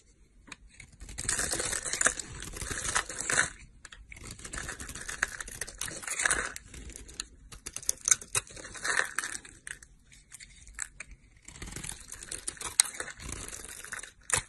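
A box-cutter blade scrapes cubes and chunks off a large, rectangular, solid, dry green bar soap with embossed lettering, held in the hand. The result is bursts of bright, crisp, crumbly scraping and crunching, separated by short quiet pauses.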